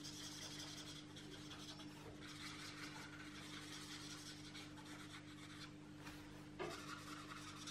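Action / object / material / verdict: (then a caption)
scrape / felt-tip marker on a paper coloring book page / paper / none. A felt-tip marker is rubbed back and forth across the page of an open paperback coloring book lying flat on a table, coloring it in while the other hand holds the book flat. The result is a steady, quiet, bright scratchy rasping over a constant low hum, with a brief louder scuff near the end.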